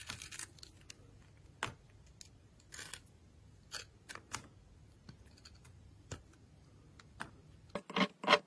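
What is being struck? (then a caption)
Glycerin soap bar cut with a metal blade. A solid translucent red glycerin soap bar with a glittery edge, held in the hand, is scraped and carved with a metal blade that shaves off pieces. Short, bright, crisp scraping strokes come at irregular intervals over a quiet, faint low hum. The final few cuts are the loudest.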